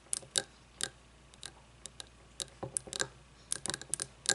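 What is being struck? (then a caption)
Frosted glass candle jar with wax. Fingernails tap a frosted glass candle jar with wax inside, resting on a wooden table. A series of short, bright, clicky taps comes at an irregular pace, each with a brief high ring that dies away almost at once over a quiet background.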